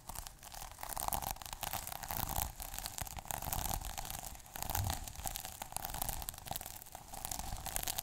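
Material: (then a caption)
Plastic. Fingertips scratch and rub the plastic sequins on a small sequin notebook cover. The result is a continuous, dense crinkly scratching with a steady tone near 800 Hz, bright rasping detail and a low rumble underneath. It swells and dips in uneven waves for the whole clip.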